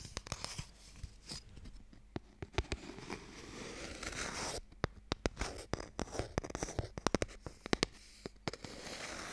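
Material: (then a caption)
Wood. A narrow, hollow wooden Mikado box held close to the microphone is tapped and scratched with long nails. Many short, sharp clicks are heard over a soft scratching rasp, with denser tapping in the second half.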